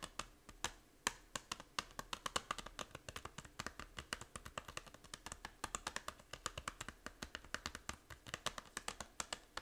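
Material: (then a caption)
Plastic. Long nails quickly tap the back cover of a small, hollow plastic 3DS game case. A rapid, continuous run of sharp, dry clicks rings bright and decays almost instantly, with a light clacking tone around 1 kHz.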